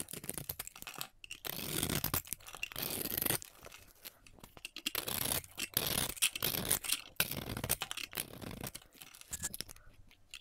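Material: Soap.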